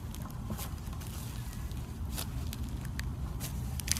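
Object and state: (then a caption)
Foam slime with styrofoam beads. Bare hands stretch, squeeze and press flat a soft, solid handful of lavender glue-based foam slime with embedded white styrofoam beads. Scattered bright crackles and crunches pop out over a steady low, muffled rumble of squishing.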